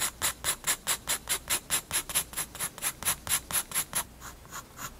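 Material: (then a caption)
Paper. A graphite pencil rubs and scratches shading strokes across a page of a spiral-bound paper sketchbook. There are 19 quick, bright, hissy back-and-forth strokes at a steady rhythm, fading softer over the last second.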